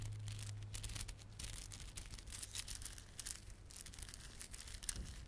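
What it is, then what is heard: Plastic beaded garland. A small clump of plastic garland, with glossy dark blue and silver solid plastic beads and red spiky plastic fringe, is held in both palms while fingertips rub and squeeze it. The result is a quiet, continuous run of bright, crisp clicking and crinkling over a steady low hum.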